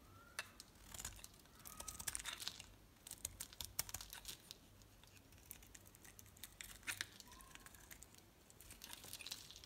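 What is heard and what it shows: A solid red Arko bar soap held in the hand is shaved with a utility knife blade, with the flakes piling up. The quiet, bright, crinkly scraping comes as dense, rapid ticks and short grating bursts, with a few sharper clicks.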